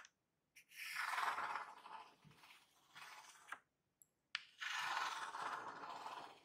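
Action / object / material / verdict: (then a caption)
scrape / corrugated cardboard box / cardboard / none. A long painted fingernail scratches and traces along the printed surface of a large, flattened corrugated cardboard shipping box with a printed label, lying on a white surface. Rasping scratch strokes swell and fade, broken by brief pauses and a few sharp clicks.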